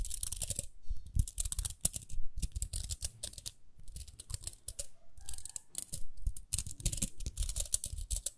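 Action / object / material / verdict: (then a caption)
scrape / plastic round hairbrush / plastic / none. Long nails scratch the bristles and rim of a small round pink plastic hairbrush. Quick bursts of bright, crackly scratching and clicking come with soft low thuds and brief pauses between strokes.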